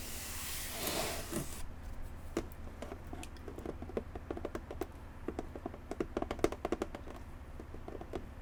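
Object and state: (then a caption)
Cardboard box. A cardboard box that held a Minecraft gaming pad is tapped with many quick, light, dry taps. A brief hissy, spray-like noise opens the clip before the tapping, over a low steady hum.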